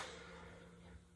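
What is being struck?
Nothing is struck.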